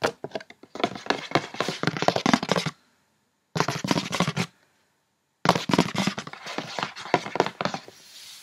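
Long painted fingernails tap quickly on the top and front face of a hollow, printed paperboard cosmetics gift box with its opened flaps off to the side. Rapid, crisp, hollow clicks come in three bursts separated by short silences, each tap dying away almost at once.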